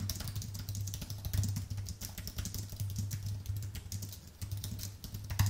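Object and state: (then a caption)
Aluminium and plastic computer keyboard. Fingertips type densely with both hands on a thin, white, full-size Apple keyboard with a solid aluminium base and plastic keys. The result is a rapid, continuous stream of short, bright clicks and soft taps. A steady low hum around 100 Hz runs underneath.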